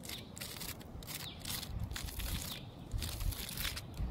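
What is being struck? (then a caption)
Bark of a living tree trunk. Fingertips and nails scratch and rub the rough, thick bark of a large living tree trunk outdoors. Dry, crackly scraping comes in uneven bursts over a steady low rumble.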